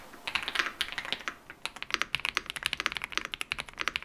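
Fingertips of both hands type on a modded full-size Yunzii YZ98 mechanical keyboard with lubed switches, a foam and tape mod, and plastic keycaps. Short, bright plastic clacks with almost no low end die away almost instantly: a softer, sparser patter for the first second and a half, then a louder, denser stream of rapid keystrokes. The recording switches between a camera and a microphone.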